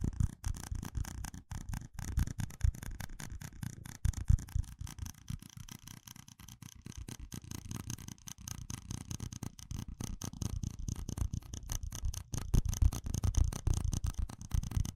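A small, hollow, empty red plastic cup with ribbed rings is held in one hand and tapped and rubbed with fingertips and nails. The result is a fast, continuous stream of soft, dull taps and scratchy rubbing, mostly low and thuddy with a faint bright edge. Louder tapping bursts come near the start and end.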